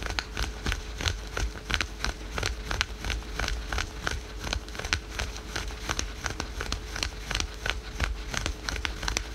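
Fingernails scratch fast over patterned spandex/polyester yoga pants worn over the knee. It makes rapid, irregular bursts of dry, crinkly scratching with sharp, bright transients and short decays over a low rumble. A faint steady tone runs underneath throughout.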